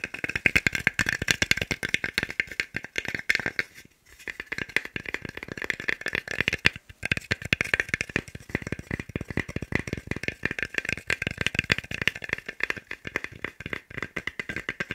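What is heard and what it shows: A small, solid, pale wooden cube held in the hands is tapped quickly with fingertips and nails, producing a dense, rapid stream of dry, clicky taps with a bright woody tone centered around 2 kHz. Each tap dies almost instantly, and the rattling flurry continues throughout with only brief pauses near 4 and 7 seconds.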